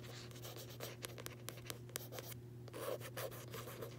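Long nails and fingertips scratch and tap the matte card front cover of a closed, solid paperback copy of "Tuesdays with Morrie." Quiet, dry scratching runs throughout, with sharp nail taps standing out over a steady low hum.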